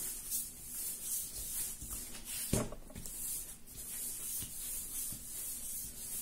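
Bare hands squeeze and knead a large, soft, solid yellow ball of raisin bread dough on a floured marble-pattern counter. Steady, quiet rubbing and squishing is heard, with a bright hiss on top and a few soft low thumps as the dough is pressed down.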